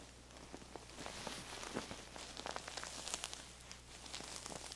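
Long nails scratch and tap the striped, printed fabric cover of a soft, stuffed square feather pillow held in both hands, making a dense run of bright, crackly scrapes with small soft taps. At the end the pillow is tilted and squeezed, adding a muffled rustle over a faint low hum.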